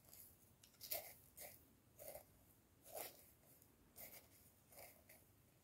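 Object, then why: Plastic jar tapped and scratched with wooden chopsticks. Wooden chopsticks scratch and tap the ribbed neck of a clear plastic jar partly filled with dark dried material. Short, quiet, dry ticks and scrapes with a bright, hissy edge come at an uneven pace, each fading quickly against a soft background hiss.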